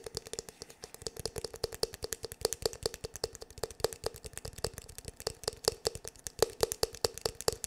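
Fingertips and nails tap quickly on the black, glossy, hollow plastic back of a paddle hair brush. It makes a rapid, uneven stream of short, dry clicks with a hollow tone near 445 Hz and bright, crisp tips that stop almost instantly.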